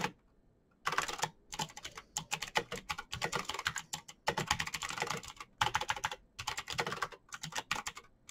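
A backlit plastic Razer BlackWidow mechanical keyboard with clicky green switches is typed on fast with the fingertips of both hands, pressing the keycaps. After a quiet opening, rapid bursts of sharp, bright clicks and clacks run in quick runs separated by short pauses, each keystroke dying away almost instantly.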